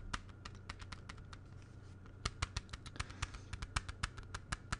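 A small, hollow, clear plastic CD jewel case is held in the hands and tapped with the fingertips, then raised toward the camera. Soft, light clicks in the first half give way to a quick run of sharper, brighter taps, each dying away almost instantly. A steady low hum sits underneath throughout.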